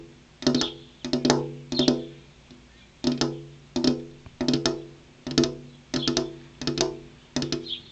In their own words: Tapping on a glass window (ASMR)